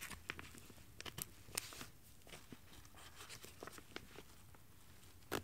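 Fingertips with long painted nails pull the zipper and handle the crinkly shell fabric of a black lightweight nylon windbreaker jacket lying flat on carpet. Quiet rubbing and soft crinkling are broken by short, bright zip and crackle ticks that stop dead. A louder crisp burst comes near the end.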